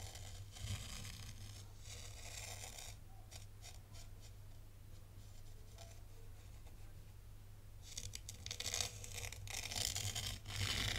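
A thin black stylus traces loops through fine white sand in a tray, scratching and pushing the grains. Crisp, bright scratching and grainy hiss rise and fall in bursts over a steady low hum, growing louder and busier toward the end.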